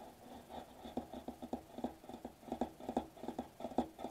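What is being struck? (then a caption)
Metallized plastic bubble wrap sheet. Fingertips of one hand lightly tap and scratch a flat silver metallized plastic bubble wrap sheet lying on a white table. About fifteen soft, short, crinkly taps come in an uneven patter, each dying away almost instantly, with faint scratching between them. The sound is quiet and mostly midrange, with little deep bass.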